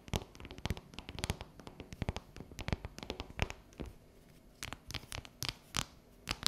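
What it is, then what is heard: Dark chocolate bar. Long natural yellow nails tap and scratch a solid, unwrapped dark chocolate bar with a ridged pattern. Quick, sharp clicks with dull low thumps come in irregular bursts, mixed with brief bright scraping sounds. The tapping eases briefly near the middle before a few louder taps near the end.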